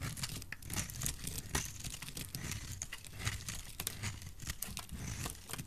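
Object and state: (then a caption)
Dry soap bar being shaved. A solid, rounded, bright green bar of dry soap is shaved with a metal utility blade into thick flakes. The result is a steady run of dense, dry crunching and crinkling scrapes, with crisp bright edges over a low, muffled body. Each scrape dies away almost at once.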